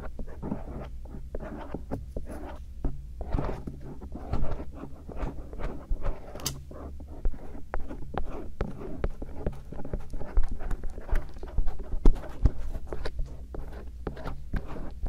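A bamboo earpick rubs along the helix of the silicone ear shells on a binaural microphone and scratches around the canal. The result is a close, soft run of scraping and scratching strokes over a steady low hum, with a few sharper ticks standing out.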